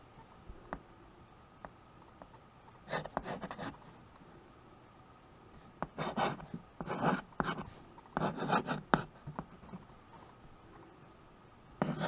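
White chalk held in the fingers writes on a small handheld chalkboard with a wooden frame, its strokes scratching across the board surface. Short bursts of dry, raspy scratching come in clusters with quiet pauses and faint light ticks between them.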